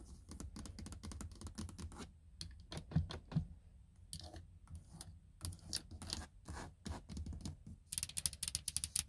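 Long nails tap and scratch the hollow, textured plastic door trim around the handle of a car door panel. Quick, irregular clicky taps mix with short scratchy rasps, ending in a denser, sharper flurry of taps.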